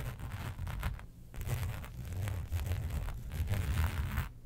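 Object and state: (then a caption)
Textured faux leather sheet being scratched. Long pointed nails scratch across a flat black embossed faux leather sheet resting on a fur rug, making continuous rough scraping and rustling strokes. A deep low rumble underlies the scratching throughout, with brief quieter pauses between passes.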